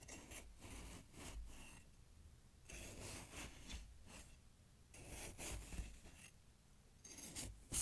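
A kitchen knife with a grey handle is pushed down into fresh snow packed to the rim of a wide glass jar and scraped through it repeatedly. Bursts of crunchy, rasping cutting and scraping alternate with short quiet gaps, each burst bright and gritty with a low rumble underneath.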